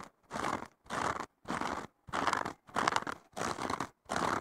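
Fingertips and short nails scratch and poke the top foam surface of a thick, solid, porous blue foam sponge block that has a green abrasive scouring layer on the bottom. Seven separate bursts of dry, crunchy scraping are heard, each about half a second long with brief silences between them, bright and centered in the midrange.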